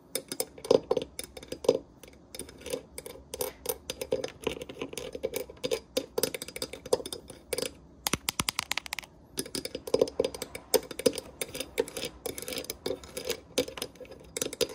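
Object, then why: Small cast metal fridge magnet. Long nails rapidly tap and scratch the raised metal letters of a small bronze-colored cast metal Paris and Eiffel Tower souvenir fridge magnet with enamel fill, resting on a white fridge surface. The result is a fast, dense stream of dry, bright clicks with a faint ring near 500 Hz, each dying away almost instantly, with scratchy rasps and a brief lull just past the midpoint.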